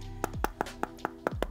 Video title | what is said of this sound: J'ai acheté un Faux Galaxy S23 Ultra à 129€ ! | Le vrai, c'est bon. Là, ça sonne creux.